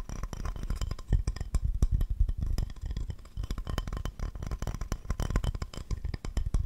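Fingertips and short nails rapidly tap and scratch a solid, empty glazed ceramic owl plate held up close. The result is a fast, uneven patter of dull, low-heavy taps with quick clicky edges, each dying away almost at once, under a soft scratching texture.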